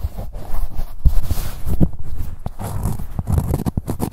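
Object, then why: Corduroy fabric pouch. Long nails scratch along the ribbed fabric of a blue-grey corduroy cosmetic pouch with a label. The result is a dense, rough rasping texture of short, quick bursts that stop almost at once, heavy and low with very little bright content.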